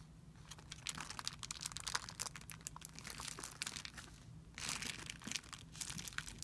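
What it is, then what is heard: Clear plastic film bag. Fingertips press and rub a crumpled, thin, clear plastic film bag resting on a white surface. Dense, bright crinkling crackles come in quick overlapping bursts with no ring after each, over a faint low hum.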